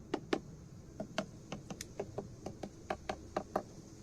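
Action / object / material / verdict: knock / wooden beehive / wood / empty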